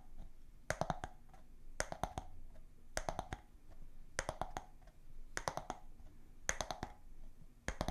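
A round bamboo lid from a glass jar is held close to the microphones and tapped with long nails and fingertips. Quick bursts of three to four sharp, bright clicks repeat about once a second, each with a short hollow midrange ring that fades almost at once. A low, steady hum sits underneath.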